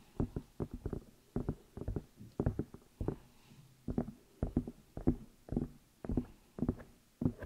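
Fingertips and long nails tap and rub the outside of the hollow rubber or silicone ears on a black binaural microphone. Close, muffled thumps come in irregular clusters, each dull and short with little ring, and most of the energy sits in the low end.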